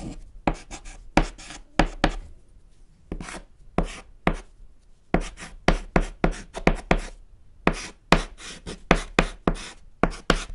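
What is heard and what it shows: A thick white chalk stick writes on a small, flat, solid black chalkboard panel, making about 19 sharp, dry taps and short scratchy strokes. Each hit has a low thump and a bright, brief hiss that dies away quickly between strokes.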